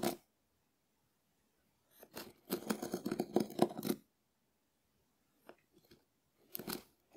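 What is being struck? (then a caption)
Dried konjac sponge scraped with wooden spoon. A small wooden spoon scratches a hand-sized, shell-shaped, hard dried konjac sponge. The result is quiet, dry, crackly scraping in bursts: a brief rasp, then a dense run of gritty scratches lasting about two seconds, followed by a few scattered scrapes and a final short burst.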